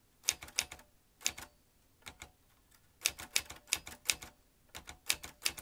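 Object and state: Manual metal typewriter keystrokes.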